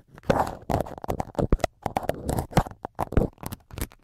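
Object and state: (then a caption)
Foam microphone windscreen poked with a needle. A syringe needle repeatedly pokes the right-hand white foam windscreen of a multi-capsule microphone while fingertips hold the top foam. The result is a rapid series of soft, muffled, scratchy crunches, heavy in low rumble, each dying away almost instantly.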